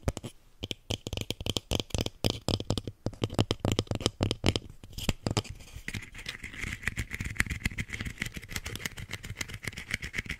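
Fingernails tap and scratch a small lilac plastic plant pot holding a succulent and filled with soil, held close to the mic. Quick, dry, hollow plastic clicks come in rapid bursts with a low thud, then give way to a steadier, brighter scratching rasp toward the end.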